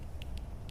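Fingers tap the underside of a pizza slice's crust, producing short, bright, crisp ticks over a steady low rumble. The crunchy taps show the crust is crisp and well baked.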